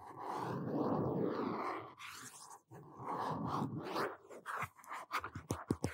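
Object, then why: Hardcover notebook, cloth-wrapped cardboard cover. Fingertips and short nails scratch and tap the front cover of a medium-size blue hardcover notebook, its cardboard cover wrapped in cloth or paper, held upright in both hands. For the first few seconds there is a soft, continuous scratching rustle. It then breaks into quick, uneven, dull taps toward the end.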